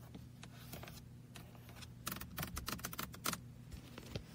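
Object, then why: Plastic toy car computer mouse. Fingertips tap and click rapidly on the roof of a small red hollow plastic car-shaped computer mouse resting on a lap. The result is a quick series of short, sharp plastic clicks, densest in the middle of the clip, over a steady low hum.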